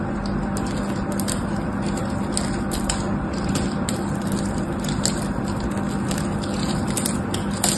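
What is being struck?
Bar of soap scraped with a metal knife.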